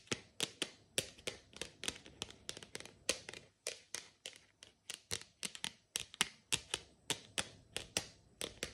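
Long nails rapidly tap the side of a tall, hollow, frosted plastic water bottle with time markings, held up close. About 34 sharp, bright clicks come in quick uneven bursts, with most of their energy in the high treble and almost no ring after each tap.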